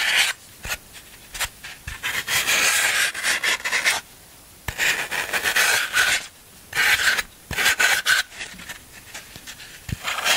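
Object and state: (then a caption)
Floral foam block being scraped. A black handheld tool is rubbed and scraped across a large solid block of green phenolic floral foam, held in one hand on a black surface, rasping off crumbs. The result is a series of dry, crunchy, bright rasping bursts centered around 1.5 kHz with a hissy high edge and almost no low end, separated by short quiet pauses.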